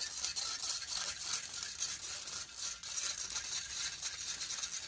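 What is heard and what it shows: Fingertips and nails vigorously rub and scratch the hollow metal mesh grille of a large silver condenser microphone. The result is a steady, dense, bright scratching hiss concentrated in the high range, with almost no low end and only slight swells in loudness.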